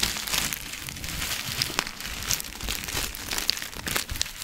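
A small clear plastic zip-lock bag, partly filled with dried herbs, is crinkled and squeezed with fingers close to the mic. The result is a steady, bright crinkling rustle dotted with sharp, quick crackles that die away almost instantly.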